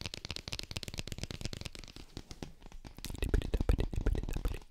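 Fingernails tap and scratch the printed label side of a cylindrical plastic G Fuel powder tub held close to the mic. Quick, dense, irregular clicks and scrapes with bright ticks run throughout, turning into heavier, bassier taps in the last couple of seconds.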